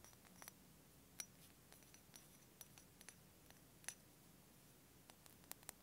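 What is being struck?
Small glass dropper bottle with paper label.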